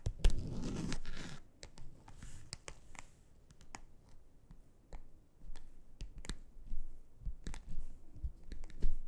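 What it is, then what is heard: Plastic board scratched with fingernails. Long acrylic nails on both hands scratch and scrape across a large, flat, grey textured plastic board made of a solid thin sheet. A rough, broadband scraping rush opens the clip, then gives way to quieter rasping and a series of sharp, dry clicks and ticks as the nails catch on the textured surface.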